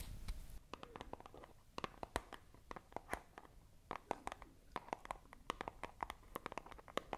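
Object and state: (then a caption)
Cardboard box, tapped and scratched. Long acrylic nails scratch and tap a small, hollow, white printed cardboard product box held in both hands close to the microphone. A brief rustling scrape opens the clip, followed by a quick, irregular run of dozens of sharp, dry clicks and taps, each with a hollow papery knock and almost no ring. Soft scratching fills the gaps between them.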